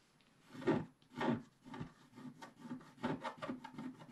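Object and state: Scratch-art paper being scratched.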